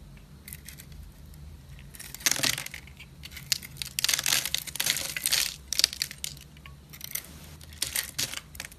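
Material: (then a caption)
Soap. A solid rectangular pink striped DURU soap bar is held in the hand and scraped and carved with a metal box-cutter blade, shaving off flakes and ribbons. Bursts of bright, dry crunching and scratching rise and fall over a faint low hum, with the densest, loudest scraping in the middle of the clip.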